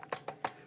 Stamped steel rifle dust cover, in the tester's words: when I tap it, you can hear they move a little bit. They're not they're not extremely tight